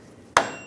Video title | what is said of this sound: How to Replace Front Axle Seal 2007-2013 Chevrolet Silverado 1500 | You can hear a different sound when it's all the way down.